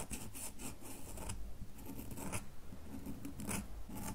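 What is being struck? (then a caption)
Solid soap bar. A solid red bar of soap held in a hand is scratched with long fingernails. Repeated short, bright, raspy scratching strokes come in quick bursts over a steady low rumble, with little ring after each stroke.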